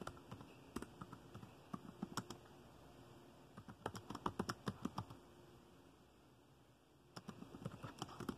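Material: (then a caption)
Plastic. Fingertips of both hands type rapid taps on dark plastic laptop keys. Short, dry clicks come in quick bursts separated by quieter pauses, with a soft low thud under each bright tick.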